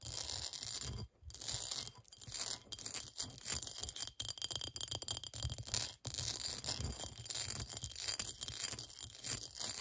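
Long nails scratch quickly over the cut pattern of a clear, textured cut-glass bowl that stands upright, hollow and empty. The result is a dense, continuous, bright scratching and rasping sound, mostly high-pitched, over a faint low hum. It drops out briefly around 1 and 6 seconds.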